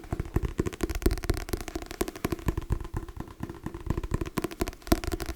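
Fingers tap rapidly and irregularly on the cover of a hardcover book, making dull, short knocks with a low hollow tone. Each tap dies away almost at once, leaving a quiet background between them.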